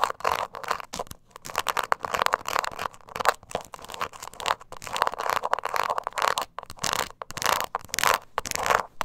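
Long nails scratch the embossed sides of a small, hollow, glossy croc-textured leather mini purse held in the hand. Rapid bursts of dry, bright scratching alternate between louder, rougher passages and softer ones, with a faint hollow tone around 1 kHz and almost no low end.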